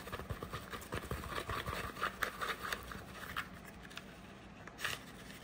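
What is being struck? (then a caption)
Small cardboard gift box. A small, hollow, cream-colored textured cardboard gift box, held in the hand, is tapped and scratched with long nails. The sound is a quick, irregular run of dry taps and scratchy rustles with short, bright clicks and a faint low rumble underneath. Each tap dies away almost at once.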